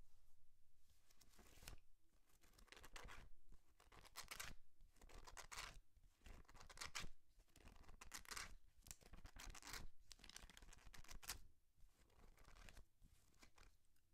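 A thick paperback book is held open in one hand while fingertips and nails rub and riffle its pages. Soft, papery rustles and bright, crisp swishes come in irregular waves, with faint low thumps underneath, all at a quiet, close level.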